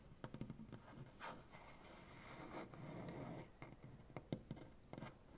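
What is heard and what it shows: One hand taps and knocks with fingertips and nails on a large solid maple butcher block tabletop, making short, dry, quickly fading clicks and thuds. In the middle, a longer stretch of soft rasping scratches rubs across the wood before the quick taps return.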